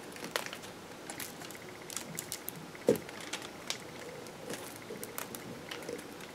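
A metal kitchen knife scrapes and shaves the end of a solid, palm-sized green bar of soap held on paper, and soap crumbs fall onto the paper. Quiet, dry scraping crackles and soft ticks patter throughout, with one sharper, louder scrape just before the midpoint.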